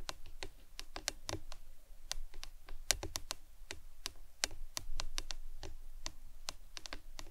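A hollow printed plastic lemonade tumbler cup with a green lid, lying on its side on a towel, is tapped with long acrylic nails. A quick, irregular series of sharp, bright clicks sounds over a low, soft background rumble. Each tap dies away almost instantly.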